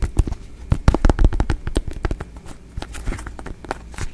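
A small, solid, hand-sized ribbed yellow squash or gourd is held in the hands and tapped and scratched with fingertips and nails close to the microphone. A fast, irregular run of dull, low, close-up thumps mixes with softer scratching. Each tap dies away almost instantly.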